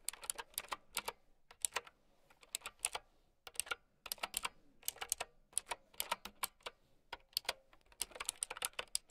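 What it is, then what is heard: Plastic mechanical keyboard. Long nails type on a plastic mechanical keyboard with round keycaps, producing a quick, uneven run of sharp, bright clicks with short pauses between bursts. Each click is dry and dies away at once, with almost no low end beneath the high, crisp clatter.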